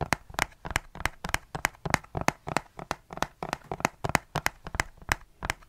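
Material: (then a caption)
Plastic. A large, dark, hollow plastic perfume spray bottle with a trigger pump, partly filled with perfume, is held in the hand beside the microphone and tapped and gripped with the fingertips. It produces a rapid, irregular run of short, sharp, dry clicks and taps with bright crackly highs and almost no ring.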